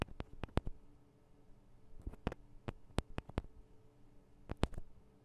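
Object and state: Recorder microphone capsules tapped with fingernails.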